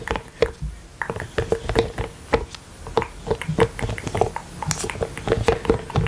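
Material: Silicone.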